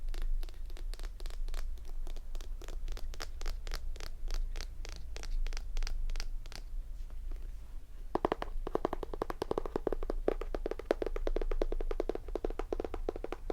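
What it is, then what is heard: Tapped hardcover book. Fingertips tap and scratch on a hardcover graphic novel edition of Brave New World in a rapid run of short, dry clicks. A brief quieter pause follows, then a denser, brighter stretch of fast tapping with a warm, low body. Each hit dies away almost instantly.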